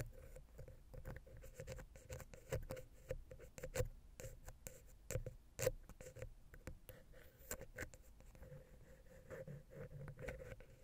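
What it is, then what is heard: Metal microphone capsule tapped and scratched. A thin wooden ear pick held in the fingertips taps and scratches the top of a small, hollow silver metal X/Y stereo mic capsule on a Zoom H6 recorder. Close, dry, rapid ticks and scrapes patter unevenly over a low, rumbling body with a faint steady tone near 516 Hz, while sharper taps stand out now and then.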